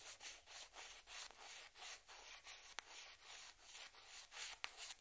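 A small, hollow, white celluloid or plastic ping pong ball is held in the hands and scratched and rubbed, first with a yellow-handled metal pick and then with long red-painted nails. Other balls sit untouched on a cloth-covered table. Quiet, bright, hissy scraping strokes swell and fade in a steady rhythm, with a few sharp little clicks.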